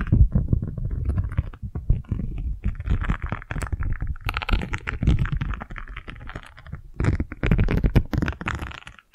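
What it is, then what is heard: Silicone scrubber. A single round yellow silicone scrub pad is scratched and tapped with long nails and fingertips, then its bristles are flicked. The result is a dense stream of soft, low, rumbling scratches and quick dull taps with a little bright crackle. A brief quiet gap comes before a final louder burst of flicking.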